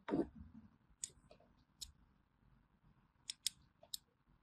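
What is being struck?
Bar of hand soap.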